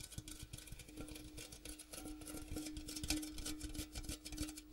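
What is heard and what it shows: Fingertips and nails tap quickly and irregularly on the outer striped wall and rim of a large, empty, hollow metal popcorn tin with a gold interior, its open end facing forward. The light clicks and taps are quiet and short, and a steady metallic hum near 300 Hz rings underneath throughout.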